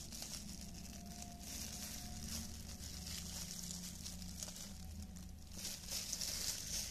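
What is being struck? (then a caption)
Thin plastic film gloves. Thin, clear disposable cellophane plastic film gloves, worn hollow and loose on both hands, crinkle as the fingers flex and rub together. The result is a continuous, bright crinkling and rustling that swells and fades in soft waves, over a steady low hum.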